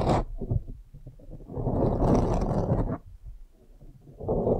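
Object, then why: Foam microphone windscreen. Long nails scratch the sides of a blue foam windscreen on a microphone, producing a close, muffled, low rustling and scraping rumble. The scratching starts with a short burst, drops back, swells into a sustained louder stretch, fades, then rises again at the end.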